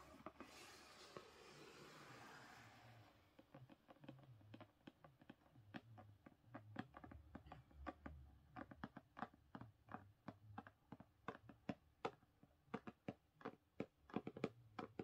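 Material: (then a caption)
Cardboard. Long pink nails on both hands tap rapidly on the top edge and cover of a thick purple hardcover book, *Experiments of the Heart*, lying on a carpet. A soft, broad scratchy rustle fills the first three seconds, then gives way to a quick run of sharp, dry clicking taps with almost no ring.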